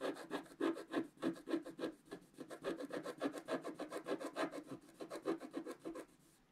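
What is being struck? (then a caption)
Coated paper scratch-art card scraped with a wooden stylus. A flat, black-coated paper scratch-art card is scratched with a wooden stylus held in the fingertips, in repeated strokes. It makes a quick, fairly regular series of soft, dry scraping rasps, about three per second, with a mid-range tone near 330 Hz. The strokes stop just after six seconds and the sound fades to quiet.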